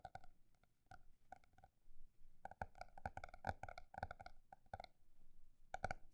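A paper notebook is tapped at a shifting pace, with sparse, spaced taps early on, a dense flurry in the middle, a brief lull, then a final quick cluster. Each tap is a soft, short knock with a hollow, slightly tonal ring in the mid range that dies almost instantly, over a quiet low rumble.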